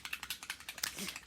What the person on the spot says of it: when you shake it it sounds almost like a um a spray can because it has almost like nail polish it has something in there so that it can mix up